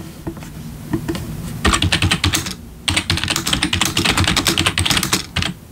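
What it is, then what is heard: Plastic membrane keyboard being typed on. A full-size black plastic membrane gaming keyboard with RGB backlit keys, sitting on a wooden desk, is typed on with the bare fingertips of both hands. A few scattered taps come first, then two bursts of rapid typing separated by a short pause. Each keystroke gives a bright, short clack over a soft low thump and dies away quickly.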